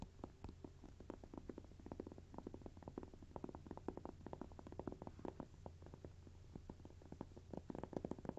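Fingertips and short nails of both hands scratch and rub the top surface and edges of a small stack of thin, solid, toast-shaped textured cork coasters lying on soft fabric. The result is a quiet, dense run of rapid, dry scratching clicks and scuffs over a steady low hum, with each click dying away almost instantly.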